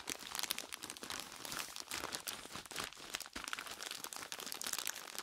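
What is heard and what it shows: Gloved fingertips in purple nitrile gloves squeeze and scratch a large, clear plastic bag full of crushed ice and tied at the top. The result is a steady stream of bright, crisp crinkling and crunching with almost no low end. Each crackle stops short, with no ring.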